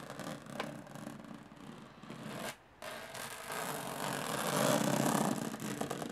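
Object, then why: Small aluminum case with textured lid. Long fingernails scratch across the textured metal lid of a small, hollow aluminum briefcase, making a dry, raspy scraping with a hollow tone. The scratching pauses briefly before three seconds, then resumes and grows louder and denser toward the end.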